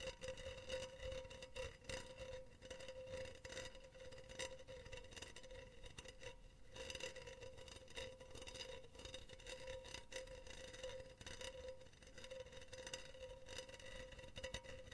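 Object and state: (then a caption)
Metal mesh pen holder. Long teal fingernails tap and scratch a hollow, empty, silver wire-mesh cylindrical pen holder. Quiet, rapid clicks and scratchy patter run continuously over a faint metallic ring around 520 Hz, with each tap fading quickly.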